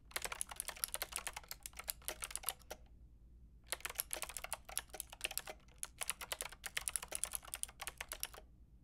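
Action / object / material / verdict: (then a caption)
tap / plastic mechanical keyboard with round keycaps / plastic / none. Typing on a white-pink backlit plastic mechanical keyboard with round plastic keycaps, tapped by fingertips with long painted nails. Quick, bright clicking keystrokes come in bursts, with a pause of about a second near the middle, over a low steady hum.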